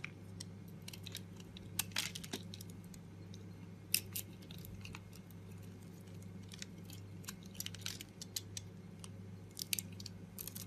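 A metal blade scrapes and carves shavings off a solid red and green bar of soap, held with long pink nails, as it is carved down further. Crisp, bright crunching scrapes come in quick irregular bursts over a steady low hum.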